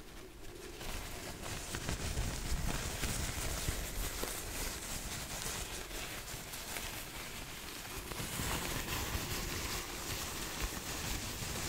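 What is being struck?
Nothing is struck.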